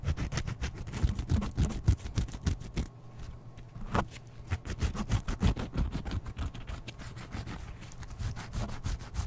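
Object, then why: Slice of brown bread. Fingertips and nails scratch and rub the surface of a single large slice of wholemeal or brown bread, solid and soft with a crust edge, held in one hand close to the microphone. The result is a rapid, irregular run of soft, dull scratching strokes with a heavy low rumble, about three per second, easing briefly into a quieter stretch midway before picking back up.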